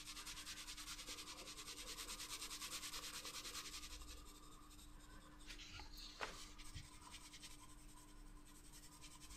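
A wooden graphite pencil, held by the fingertips, scratches rapid shading strokes across a leaf drawing on the paper page of a spiral-bound sketchbook lying flat on a desk. It makes a bright, dry, rhythmic rubbing and scratching sound, loudest and most regular for the first four seconds, then softer and more uneven, with a brief sharp tick near the six-second mark. A faint steady hum sits underneath.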